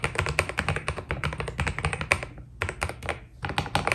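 Fingertips of both hands type rapidly on a white Keydous NJ80 mechanical keyboard with PBT plastic keycaps. Each keystroke is a short, crisp clack that dies away almost instantly, with a steady low hum beneath the fast, uneven run. The typing briefly thins out around the middle and again just after three seconds, then picks back up.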